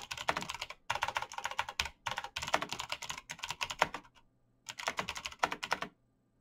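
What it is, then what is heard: Plastic mechanical keyboard. Fingertips type fast on a black plastic mechanical keyboard with backlit keys, giving dense runs of sharp, bright clacking taps. The bursts are separated by short pauses, with a longer gap just past the middle. Each click is dry and stops almost instantly, with little low end.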